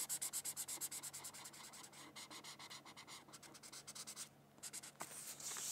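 A red felt-tip marker rubs in rapid back-and-forth strokes across a thin white paper coloring sheet, making a bright, high, scratchy hiss that pulses with each stroke. The strokes start sharp and distinct, then blur into a steadier rubbing, with a brief quiet pause before a final stretch of continuous scratching.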